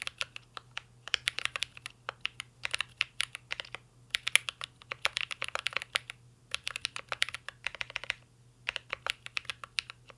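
Two hands type steadily with their fingertips on a full-size mint-green Cyberboard R3 mechanical keyboard with a metal case, plastic keycaps and Holy Panda switches, resting on a desk. Quick runs of short, bright, clacky keystrokes come in bursts separated by brief pauses, over a faint low steady hum.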